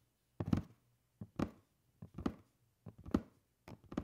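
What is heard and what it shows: Fingernails scratch along the lid edge of a black cardboard shoe box lying down, its hollow body giving a dull, low scraping tone. The sound comes in five short, uneven bursts separated by silence, each made of quick rasps that stop dead with no ring.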